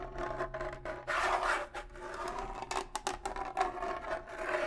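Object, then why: Rawhide bongo drum head. A pair of rawhide bongo drums is held up near the face while fingernails scratch across one hide head. Bursts of dry, raspy scratching come and go over a faint hum of drum resonance around 700 Hz, with brighter, louder strokes mixed among softer rubbing.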